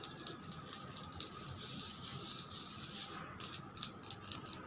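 Long pointed red acrylic nails tap and scratch across a large, flat, solid white-grey veined marble slab. The sound is a bright, dry, irregular scraping with quick, clicky taps that die away almost at once, sitting almost entirely in the high range with nearly no low end.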